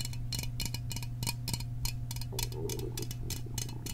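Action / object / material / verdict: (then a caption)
tap / small aluminum soda can / aluminum / none. A small printed Fanta aluminum soda can is held in the fingers close to the microphone while fingertips and nails tap quickly on its body. The result is a rapid run of short, bright metallic ticks and clinks over a steady low hum.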